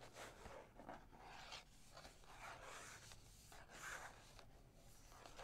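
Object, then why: Small cardboard box. Long nails tap and rub the surface of a small, hollow Yogi Ginger cardboard tea box held on a table. Soft, papery scratching swells and fades in slow waves, with faint hollow taps mixed in. The sound stays quiet and close throughout.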